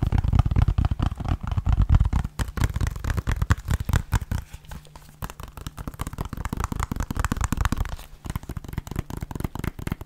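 Fingernails rapidly tap and scratch the edge and front of a small, hollow, white plastic 3DS game case. The result is a dense run of short, dry clicks and scrapes with a hollow, thumpy low body, fading quickly after each strike. The tapping eases slightly around the middle and then picks back up.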